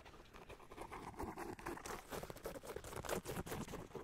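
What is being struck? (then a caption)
Rubber-soled sneaker. An empty, hollow sneaker with a lavender rubber outsole is held up to a microphone while fingertips and nails tap and scratch across its treaded rubber sole. The result is a quiet, steady patter of short, dry taps mixed with scratchy rasps, with a muted, hollow body around 370 Hz and little high brightness.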